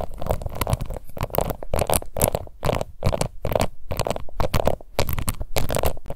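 Long nails scratch across the embossed lid of a small round pink plastic face powder compact in quick, repeated strokes. The result is a dense, rough scratching texture with short bursts and brief gaps, heavy in low rumble with a faint bright edge.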